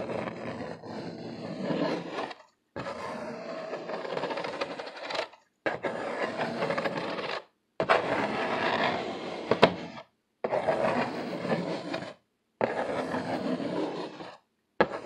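Fingertips and nails of both hands tap and scratch the flat side panel of an upright, hollow corrugated cardboard box. Dense, papery scratching with a midrange body comes in several sustained bursts separated by short silences, with an occasional sharper tap standing out.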